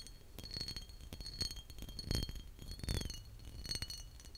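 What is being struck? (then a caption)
Embossed glass bottle. A large, mostly empty green glass bottle with a heavily textured embossed surface and a metal-capped neck is held in hand and tapped with short fingertips and nails. The taps come as an uneven series of light clinks, with a hollow low thump under each and thin, bright ringing tones that hang faintly between them.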